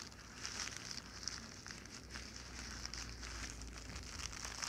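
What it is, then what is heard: Plastic mailer bag being scratched and crinkled. A flat, empty white plastic poly mailer bag is scratched with fingertips and long nails as it lies on a blanket, then lifted and crinkled in the hands. The result is a steady, bright, crackly rustle with fine high scratchy detail and a faint low rumble underneath.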